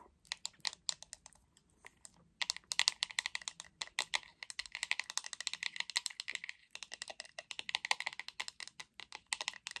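Long acrylic nails tap the back of a hot pink hollow plastic paddle hairbrush in quick bursts. The result is rapid, dry, bright clicks with almost no ring, clustered in fast flurries separated by brief pauses.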